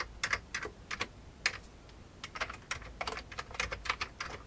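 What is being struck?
Plastic computer keyboard.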